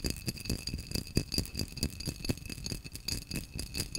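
A tall, hollow, apparently empty cobalt-blue vase of textured, cut-pattern glass is held in one hand and tapped quickly with fingernails. The result is a fast, irregular stream of short, dry clicks and rattly taps with a low thump beneath. A faint bright glassy ring hangs steadily over the taps.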